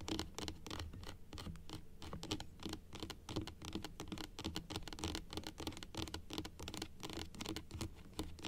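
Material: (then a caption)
Plastic. Long acrylic nails tap rapidly on the teeth of a large plastic dental model resting on a table. The sound is a dense, quiet patter of short, dry clicks and scratchy taps with a faint hollow tone near 320 Hz. Each tap dies away almost instantly.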